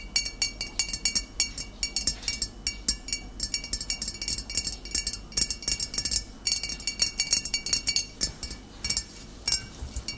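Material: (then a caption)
Glass. Long nails tap the glass shoulder of a full, upright glass bottle of cider vinegar. The result is rapid bursts of bright, high clinks with very short ring, separated by brief pauses.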